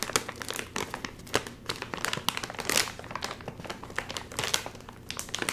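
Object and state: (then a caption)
Crinkling foil chip bag. A full, sealed, red and white metallized plastic chip bag is held upright while fingertips crinkle it and pull at the top. Dense, bright crackling and crinkling runs throughout, with sharp, quickly fading crackles over a soft rustle. The bag stays sealed.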